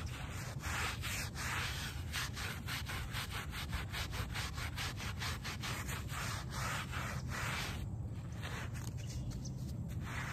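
A small wooden-backed brush scrubs along the edge and face of a small, foamy, shag-pile fabric doormat. It makes a steady, low, rumbling scrub with quick repeated strokes that add brief, bright, raspy swishes.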